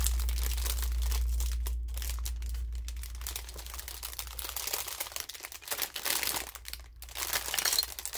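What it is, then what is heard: Clear plastic bag being crinkled. Fingers squeeze and crinkle a thin clear plastic film bag holding pink and teal toy makeup pieces, held in both hands over a pink plastic case. The sound is a dense, bright crackling crinkle with a steady low hum underneath during the first few seconds.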